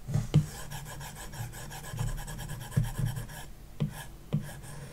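A plastic stylus tip rubs back and forth across a large iPad glass touchscreen fitted with a matte screen protector film, shading a shape. The result is a steady, low, rasping scratch, broken by a few sharper strokes that stand out over the continuous rubbing.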